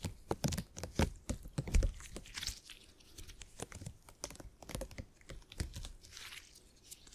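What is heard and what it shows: A soft purple gel grid cushion made of hyper-elastic polymer is squeezed, folded and stretched with the fingertips. It gives an irregular stream of sticky, crinkly pops and clicks over soft low thumps, with brief bright hissy swells.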